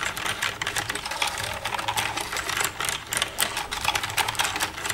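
Long red-painted nails tap and type with both hands across the keys of a black plastic desktop computer keyboard with a hollow casing. A rapid, continuous stream of bright, crisp plastic clicks and clacks is heard, each dying away quickly, with only a faint low hum underneath.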